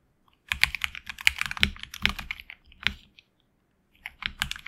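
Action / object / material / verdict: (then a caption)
tap / mechanical keyboard, plastic keycaps on aluminum plate / plastic / none. Fingertips of both hands type on a tenkeyless HyperX Alloy Origins Core mechanical keyboard with HX Red switches and PBT plastic keycaps on an aluminum plate in a hollow case. Quick runs of bright, sharp clacks with almost no ring come in bursts, with a short pause before a final flurry of keystrokes.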